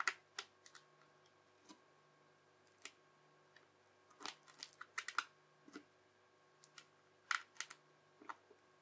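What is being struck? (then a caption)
Bubbly slime cut with a plastic knife. The edge of a yellow plastic knife is pressed down again and again across a translucent teal, bubbly crunchy slime strip resting on a white surface. Each press makes a short, crisp, bright crunch or crackle, some alone and some in quick clusters. A faint steady hum sits underneath.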